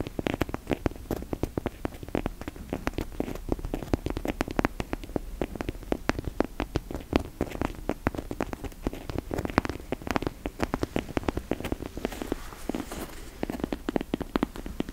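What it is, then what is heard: Rubber toy chicken leg. A hand-sized fake chicken drumstick toy, apparently soft, likely hollow rubber or latex, is held in both hands and rapidly tapped and scratched with long nails. The result is a dense stream of short, dull, low-pitched taps with a soft scratching texture, briefly turning more hissy toward the end.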